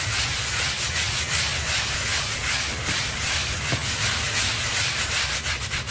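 A hand scrubs a dirty small pink textile rug covered in white soapy powder and foam with a stiff-bristle hand brush, working in repeated strokes. The result is a steady, bright, scratchy rasp with a soft wet hiss that pulses with each stroke, at a fairly quick but uneven pace, and holds at an even level throughout.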